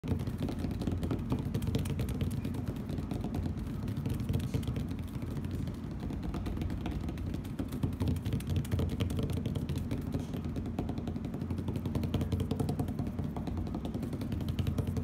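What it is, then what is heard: Plastic tablecloth tapped and scratched. Both hands tap and scratch with fingernails and fingertips on a thin plastic tablecloth with a heart print, lying flat on a hard table. The sound is a dense, steady stream of quick clicks and crinkly scratches over a soft, low thumping body for the whole clip.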